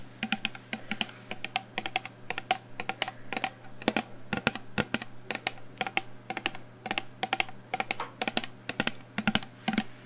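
A full black plastic shower gel bottle with a pump cap is held up and tapped rapidly with long nails. The result is a dense run of sharp, bright clicking taps that die away almost instantly, over a faint steady low hum.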